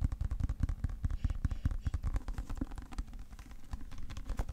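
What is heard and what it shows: Fingertips and nails tap and scratch the dark cover and cream paper page edges of a thick, solid hardcover book held in both hands. The result is a fast, uneven run of dull, low, close-up thumps with very short decay, mixed with faint soft scratching.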